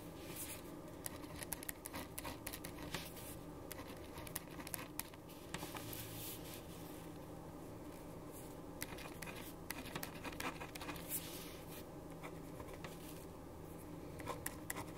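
A black ballpoint pen writes on a white paper sheet resting on a wooden desk, scratching across the paper. Quiet, steady scratching with small, quick ticks continues throughout over a low, constant hum, with brief brighter strokes rising now and then.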